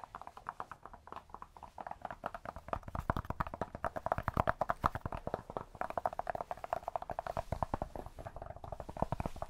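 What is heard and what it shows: Cork is tapped up close in a dense, steady stream of short, dry, clip-clop-like taps, each dying away almost instantly. The taps carry a hollow midrange tone with a soft low thump underneath and little high brightness.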